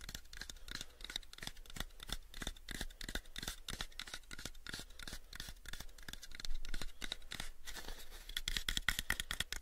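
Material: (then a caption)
Wood. Fingernails tap rapidly on the face of a hollow, pale, unfinished wooden cube box held in both hands. The result is a steady stream of short, dry, bright clicks with a woody knock near 1.9 kHz and almost no ring. A constant low hum sits underneath, and the tapping grows a little louder toward the end.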